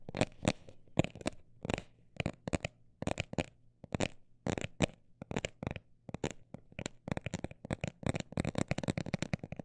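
A textured cosmetic bag is tapped with short, dry, crinkly taps in irregular bursts, some quick and some slower. The taps are soft with almost no ring, carrying a low thud body under a faint bright rustle. A low steady hum runs beneath.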